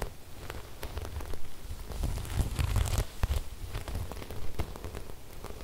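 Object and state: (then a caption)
Sequin fabric. Long red nails and fingertips rub and scratch across a large, flat cream fabric embroidered with silver sequin flowers. The result is a steady, crackling rustle dotted with sharp, bright clicks over a soft low rumble, swelling louder in the middle of the clip.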